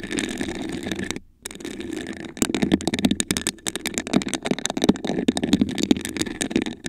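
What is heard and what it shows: Long acrylic nails scratch and tap a tall, hollow, iridescent glass vase with a raised honeycomb pattern, apparently empty and held in both hands. A steady scraping rasp over the ridged surface breaks for a moment of silence, then turns into a quick, uneven run of sharp clicking taps with a dull low-mid knock and almost no ring.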